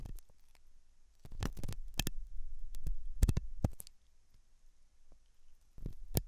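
A hooked metal dental tool scratches inside the ear canal of a white translucent, soft solid-rubber silicone ear, likely mounted on a binaural ear microphone. Close, muffled scraping and rumbling bursts come in irregular clusters, with sharp bright clicks and crackles over a low hum.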